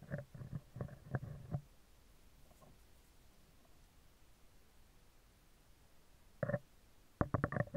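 Metal tweezers scratch a round, hollow steel wire-mesh microphone grille, first from below and then from the top. Bursts of low, rumbling scratches with brief mid-range clicks come at the start and again near the end, separated by a long quiet stretch.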